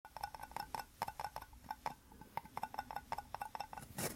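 Two small white plastic cups joined rim to rim into a hollow, empty cylinder are held in both hands and tapped and scratched with fingertips and nails, with the object low in the middle. Quick, clicky taps ring briefly around 860 Hz, mixed with soft scratching, ending in a brighter, noisier rub.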